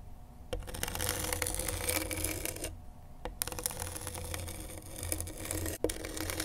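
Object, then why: Skateboard grip tape scratched with a pen tip. A pen tip held in a gloved hand scratches gritty black grip tape on a flat skateboard deck. Steady, rough scraping fills the high range over a low rumble, broken by a brief pause near the middle and a short dip near the end. A few sharper ticks mark where the strokes start and stop.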